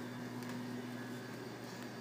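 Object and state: Nothing is struck.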